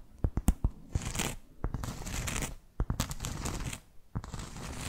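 A solid, round, flat cork board trivet is held close to the mic and scratched with long fake nails. Sharp clicks and taps come first, then dry, rasping scratch strokes in bursts with a bright hiss and a deep rumble underneath.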